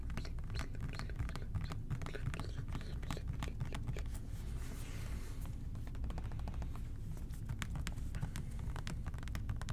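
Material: Plastic.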